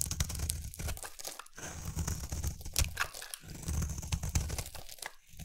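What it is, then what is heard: Bar soap being carved. A utility knife blade carves a solid oval lilac bar of soap, shaving off crunchy flakes. Close, dry crunching and scraping strokes come in irregular bursts with sharp bright clicks, over a low rumble and with brief quiet gaps between passes.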